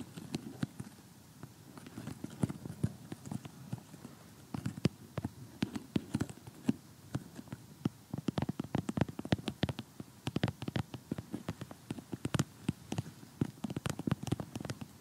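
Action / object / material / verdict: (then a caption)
tap / cardboard jigsaw puzzle / cardboard / none. Painted fingernails tap and scratch across an assembled cardboard jigsaw puzzle of colourful houses lying flat on a table. Dozens of quick, dry clicks with a soft low thud spread over a faint scratchy rustle. The tapping gets denser and sharper in the second half.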